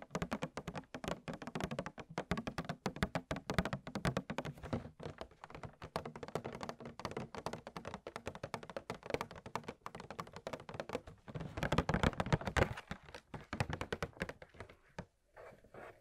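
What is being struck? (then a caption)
Hard plastic blister pack holding bath bombs. Fingernails tap on the clear, hard plastic bubbles of a hand-sized blister pack holding four gem-shaped bath bombs. The tapping is rapid and continuous, producing short, dry, hollow clicks with a thunky low body and almost no ring. The taps swell louder around the twelfth second, pause briefly near the end, then resume more softly.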